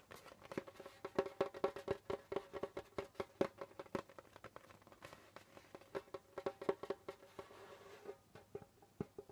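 Fingertips of both hands tap rapidly on the skin head of a hollow djembe drum with a wooden shell, producing dozens of quick, dry taps. Each tap carries a short, mid-pitched tonal ring around 390 Hz. The tapping comes in rolling bursts, softens briefly in the middle, then picks up again before thinning out at the end.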